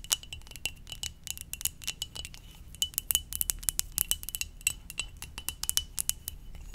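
A ceramic mug shaped like a Poké Ball is tapped gently in a quick, uneven stream of light taps. Each tap gives a bright, glassy, chime-like clink with a steady ring near 3 kHz that dies away almost at once, over a soft low rumble.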